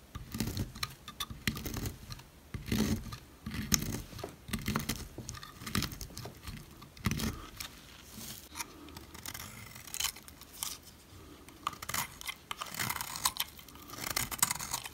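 A metal blade slices through the cut layers of a solid yellow oval bar of dry soap, then a utility knife scrapes across its flattened face. The clip is a run of dry, crisp cuts and rasping scrapes with bright crackling detail and soft low thuds, each stroke stopping short with no ring.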